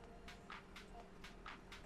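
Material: Plastic.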